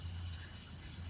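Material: Nothing is struck.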